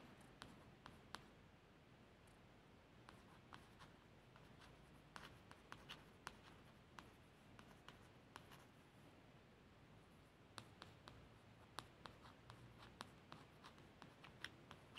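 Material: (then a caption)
Laminated cardboard. A long fingernail traces the small printed text on the lower part of a solid, blue laminated cardboard hardback book cover, making soft scratching strokes. Many sharp, bright little ticks pop out irregularly over a quiet, steady low background, each dying away almost instantly.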